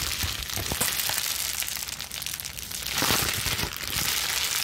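A balled-up plastic bubble wrap sheet is crushed and scrunched between both hands, with long nails scratching its surface. The result is a steady, bright crinkling hiss, dotted with sharp cracks and pops. It eases slightly in the middle before swelling again.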